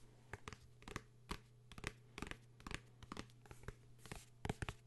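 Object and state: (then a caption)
Hardcover book, tapped and scratched. A blue hardcover book is tapped and scratched, giving a run of short, dry taps mixed with brief scratching strokes. A steady low hum sits underneath the quiet clicks, and each tap dies away almost at once.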